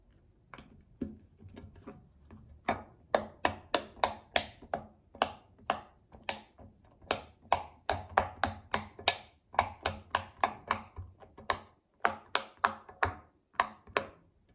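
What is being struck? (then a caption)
Silicone pop-it fidget toy. A child presses the hollow bubbles of a round pink silicone pop-it fidget toy with her fingertips while it rests on a glass table. The result is a quick series of about 29 short, crisp pops with a bright snap and almost no ring, each fading almost instantly in an uneven rhythm.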